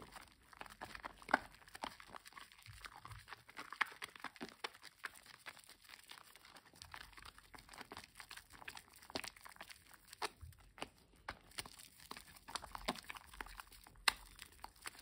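A wet, lathered green-and-white bar of household soap is rubbed and squeezed between bare fingertips and palms over a basin of foamy water. Soft, squishy crackling foam sounds come in a dense run of small, quick pops and crinkles, mostly in the mids and highs with little low end.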